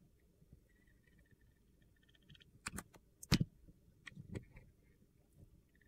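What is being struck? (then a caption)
Glycerin soap bar cut with a metal blade. A metal box-cutter blade shaves slices off the edge of a solid, translucent green glycerin soap bar with a glitter coating, held in the hand. Against a quiet background with faint high tones, short crisp scraping cuts come in bursts, with the sharpest, loudest strokes near the middle. Each cut gives a dry, gritty crunch that stops almost at once.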